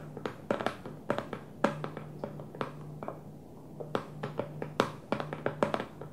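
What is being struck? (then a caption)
Plastic food storage container with lid. Long fingernails of both hands tap on top of a small, square, hollow food storage container with a clear plastic lid and blue plastic base, resting on a dark table. Quick, irregular clusters of sharp, hollow plastic clicks stop dead with almost no ring. A faint, steady low hum runs underneath throughout.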